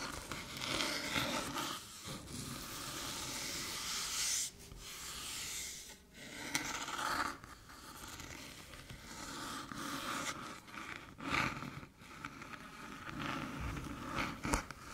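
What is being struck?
Small aluminium USB hub.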